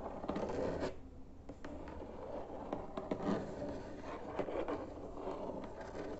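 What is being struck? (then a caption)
Cardboard box lid. Fingertips tap and scratch the flat cardboard surface of a white cardboard box lid with printed text. A steady, muffled scratching and rubbing sound sits mostly in the low and middle range, with little bright content. Soft, dull taps are scattered through it.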